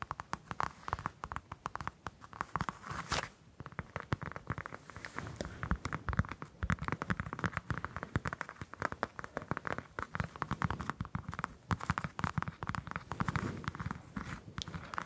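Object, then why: Whole orange, citrus peel. A whole orange held in both hands has its dimpled peel scratched and tapped with long nails. The result is a dense, continuous stream of fast, dry scratches, crackles and soft taps at a low, close level. There is steady low-end thump under a papery mid-range rasp, with no clear pauses.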